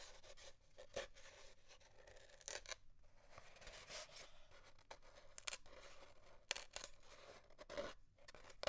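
Fingernails scratch along the length of an empty, hollow cardboard paper towel tube, near its end, as it lies on a desk under both hands. Quiet, dry, bright scratching strokes come in bursts with short gaps between them, each stopping abruptly without ringing.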